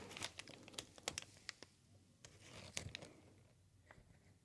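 A sheet of green plastic air-pillow packing material with hollow air-filled bubbles is held in both hands and squeezed and crinkled with the fingertips. Quiet, bright crinkling is broken by sharp, quick crackles that come thickly at first, then thin out and fade toward the end.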